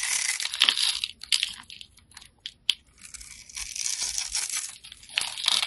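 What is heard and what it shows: A solid pale-green bar of soap, held in the hand, is cross-hatched and scraped with a metal blade, breaking off small crunchy soap cubes. The sound is a bright, dry crunching and crackling with almost no low end, coming in scraping bursts with quieter gaps in the middle and a sharp click near the middle.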